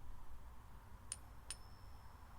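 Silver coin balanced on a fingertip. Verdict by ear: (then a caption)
Real. A silver coin balanced on a fingertip is tapped, giving faint, very high-pitched clinks that ring briefly over a low background rumble. The ring is the ping test for genuine silver, and this coin passes as real silver.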